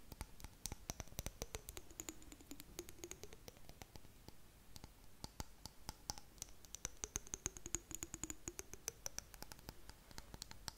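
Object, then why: Small glass jar. Long nails tap and scratch the sides and lid area of a small clear glass jar with blue contents. Rapid, dense, bright clicks and taps run throughout, with very short ring. A faint tone rises and falls beneath them in two slow sweeps, one high and one low.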